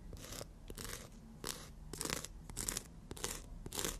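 Natural nails are rubbed and filed against the abrasive surface of a long black-and-white emery board. Repeated bright, hissy scratching strokes come at a steady, unhurried pace, with small soft clicks between them and a quiet low rumble underneath.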